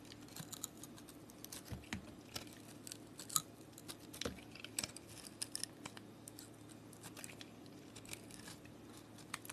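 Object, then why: Bar of soap with glitter crust. A utility blade scrapes into a palm-sized, solid pink block of soap with a glitter crust, shaving off powdery flakes. The sound is quiet and made of dry, crisp crunches and bright scratchy ticks over a faint steady low hum, with a few sharper snaps standing out.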